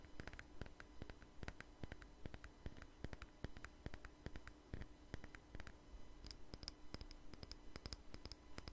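A small jar with a red label and lid is held in the hand and tapped with fingernails, giving dozens of quick, dry clicks at an uneven pace. A steady low hum runs underneath, and in the last few seconds the taps turn brighter and sharper.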